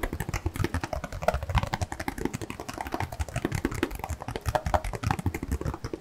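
A cardboard box of disposable gloves is tapped rapidly and continuously for about six seconds. Dense, quick, dull hollow taps land one after another with a low, papery thump and a faint tone around 620 Hz, each dying away almost instantly.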